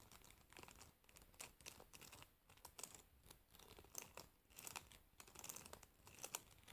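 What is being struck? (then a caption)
Wooden hairbrush with metal pins. A wooden hairbrush with metal pins, held sideways, has its pins plucked and scratched by long nails. The result is a quiet, steady stream of bright, crinkly ticks and scratchy bursts that swell and fade every half second or so, with no lasting ring.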